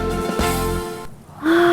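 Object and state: Nothing is struck.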